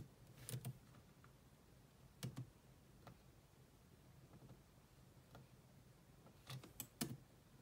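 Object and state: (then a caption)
Laptop keyboard with plastic keys. Long nails and fingertips slowly type on the black plastic chiclet keyboard of a grey laptop. About ten sharp, bright clicks come in scattered pairs and clusters, each with a soft low thud that fades almost instantly. A quiet, steady low hum sits underneath.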